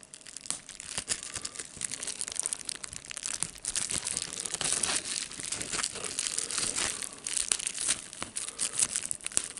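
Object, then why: Plastic bubble wrap sheet. Fingertips press and pop the air bubbles in a sheet of clear plastic bubble wrap and crinkle the plastic. The sound is a steady stream of dense, bright crackling with many sharp, short pops and almost no low end.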